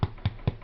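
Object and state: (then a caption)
Fully baked bread loaf, hollow-sounding. A freshly baked crusty white loaf made from an Aldi bread mix is tapped on its bottom just after coming out of the tin, giving three short, low, hollow thuds. The hollow sound shows the bread is fully cooked through.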